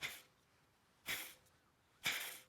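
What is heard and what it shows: An old steel serpentine belt idler pulley from a Toyota Camry is spun by hand three times. Each spin gives a short, bright, rough rushing bearing noise that fades within a fraction of a second. The worn bearing is judged bad.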